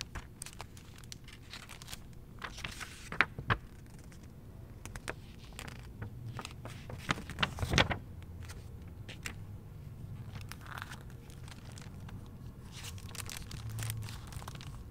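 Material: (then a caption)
Paper. A handheld paperback St Petersburg travel guidebook with glossy paper fold-out pages is opened, folded and flipped by hand. The glossy pages crinkle and rustle in many short, bright crackles over a steady low hum. The paper noise stays quiet and close throughout.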